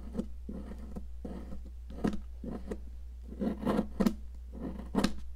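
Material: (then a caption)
Chalk. A metal tool scrapes and gouges a solid, yellow, popsicle-shaped cast chalk block held by a hand with long nails, breaking chalk chunks off onto the table. Short, dry, gritty scraping and crunching bursts with a muffled, low-mid body come in irregular bursts over a steady low hum.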